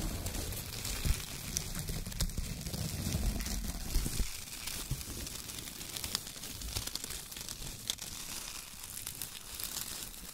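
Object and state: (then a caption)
Shredded kraft paper being crinkled. Fingertips crinkle and rub small bunches of thin brown shredded kraft paper on a table, making a steady, soft crackling rustle. Brief louder crinkles stand out against a low rumbling bed, with bright papery hiss on top.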